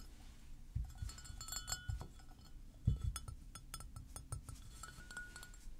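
A hollow white floral porcelain mug is held and turned while being tapped with fingernails. Quick, bright clinks ring out over soft, low handling thumps. A few louder knocks stand out among the light tapping.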